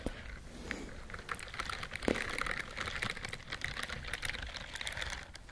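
Long nails scratch across the bristled fingers of a white silicone dishwashing glove. The result is a dense, steady run of fine scratchy clicks and rustles with bright hiss, like rapid light tapping, and no pauses.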